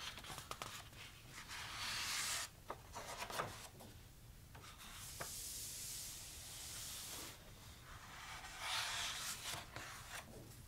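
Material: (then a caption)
Paper. Fingertips rub across the coated paper pages of a large, thick softcover photo book and turn them. Long, soft, bright swishing strokes alternate with quieter stretches of sharp little paper ticks and flicks as the pages are handled and flipped.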